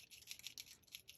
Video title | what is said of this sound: Simple Pattern Poppies | you can hear that little agitator ball in there mixing the liquid with the pigment